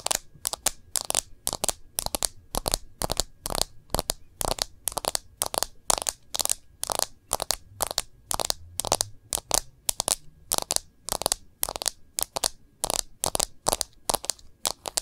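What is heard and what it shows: Long nails tap and scratch the back of a smartphone in a clear plastic case, making a quick, steady series of dozens of sharp, bright clicks and scrapes. Each hit is crisp and dry, with almost no low end and no ring-out, separated by brief silences.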